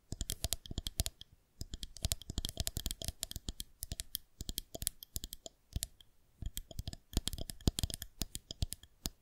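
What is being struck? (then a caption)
Plastic rolling pin. A white plastic rolling pin rests on the fingertips of both hands while long nails tap and click against its underside. Quick, dry clicks come in rapid bursts with a soft low knock beneath a bright tick, separated by brief pauses.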